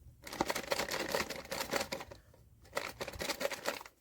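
A sealed cardboard POP MART SKULLPANDA The Sound blind box is shaken and weighed. It holds the vinyl Anger figure, which opening the box confirms. Two bursts of dry, clicking rattles are separated by a short pause near the middle, as the figure knocks around inside the box.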